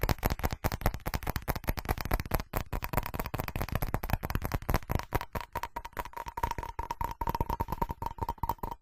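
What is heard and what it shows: A ceramic object is tapped and scratched quickly, giving a rapid, uneven stream of short, dry knocks with a heavy low thud and little brightness. In the second half, a faint steady ringing tone near 900 Hz rises under the tapping.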